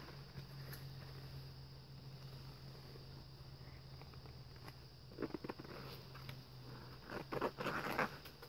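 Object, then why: Glitter-coated paper page in a book. Bare fingertips of one hand, wearing a ring, tap and scratch lightly across a dark printed, glitter-coated paper page of a thin handmade scrapbook-style book lying open on a fluffy blanket. A quiet, steady hiss and low hum fill the first five seconds, then a short cluster of soft, dry scratchy taps comes in, followed by a denser, slightly louder burst of gritty scratching near the end.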